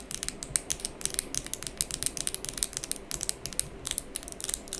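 Long pink acrylic fake nails on both hands, held up close, are tapped and clacked tip against tip in fast nail-on-nail tapping. About 27 sharp, dry clicks from the small, hard plastic surfaces come in quick, irregular bursts. They are bright and high, with no ring after each hit and little low end.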